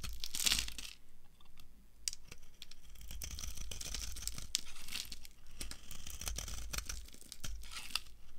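A solid, dry, translucent brown soap bar held in the hand is shaved with a metal knife into long curls. The clip is full of crisp, bright, crunchy scraping and tearing sounds with many sharp clicks, and a low rumble sits underneath.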